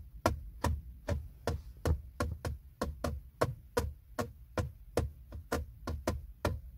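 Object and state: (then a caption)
Plastic console trim panel. Fingertips and short nails, with a ring on one finger, tap a flat, hollow, textured silver plastic trim panel on the center console beside the gear selector. Eighteen quick, uneven taps sound as dull, hollow low knocks, each with a brief bright click and almost no ring.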